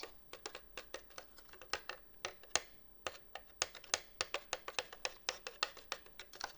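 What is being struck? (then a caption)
Woven wicker basket holding a potted plant. A basket holding a potted plant is tapped and scratched in a quick, uneven run of about two dozen light hits. Each hit is crisp, bright and very short with almost no low end, and the hits come close together with brief pauses between clusters.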